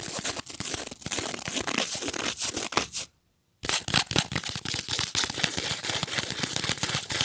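A thin printed cardboard angel ornament, held up close, is scratched and rubbed with long nails and fingertips. It makes dense, bright, papery scratching and crinkling with rapid rough strokes. A brief full silence falls just past the three-second mark before the scratching resumes at the same intensity.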